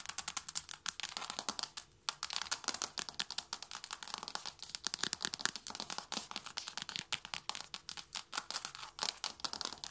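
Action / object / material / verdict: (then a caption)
tap / wooden or laminate floor tapped with fingernails / wood / none. Long blue-tipped nails tap rapidly with both hands on a flat, solid wooden or laminate floor. A dense stream of dry, bright clicks with almost no low end and no ring, pausing briefly near the 2-second mark. The taps continue in quick, uneven bursts throughout.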